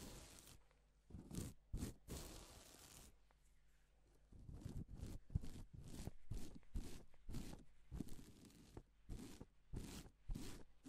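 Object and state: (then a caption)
Plastic sequin fabric being brushed. Gloved fingers brush across pink and silver reversible plastic sequin fabric, flipping the sequins. The result is a series of crisp, scratchy swishes and soft rustles with bright edges, over a faint steady low hum.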